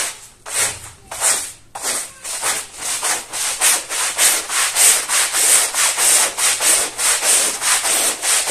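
A long-handled plastic-bristle brush scrubs a small fringed woven fabric rug, wet, foamy and dirty with mud, on a tile floor. Each stroke makes a bright, bristly, wet swish with almost no low end. The strokes start uneven and quieter, then settle into a steady, louder back-and-forth rhythm.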